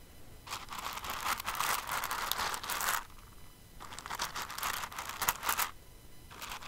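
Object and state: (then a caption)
Pile of plastic rhinestones. Fingers with long nails dig into and stir an open clear container full of plastic rhinestones, producing dense, bright, crackly rattling. The sound comes in two long bursts separated by a quiet pause, with a third burst starting just as the clip ends.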